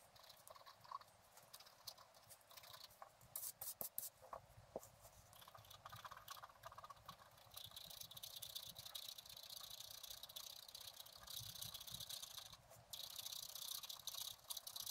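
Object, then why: Black-coated scratch art card scraped with a wooden stylus. A wooden stylus scratches the black coating of a flat scratch art card lying on a table. It makes quiet, dry, bright scraping strokes in quick irregular bursts, with longer steady rasping runs later on and almost no low end.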